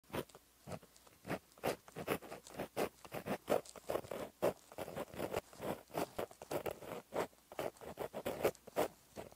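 The metal tip of a Sakura Gelly Roll gold gel pen, held in the fingers, writes by hand on a flat black lined paper notebook page resting on a solid surface. Continuous handwriting strokes make a quick series of short, dry scratches, each ending almost at once, with most of the sound in the midrange and little bass. The bursts come in uneven groups separated by brief quiet gaps.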